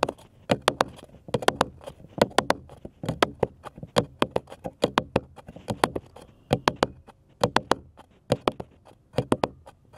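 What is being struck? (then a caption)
Flat wooden cross cutout. Fingernails tap a flat, solid, light-colored wooden cross cutout held in both hands, making about 37 short, dry clicks in quick irregular bursts over ten seconds. Each tap is a bright, sharp tick with a mid-range woody tone and no ringing.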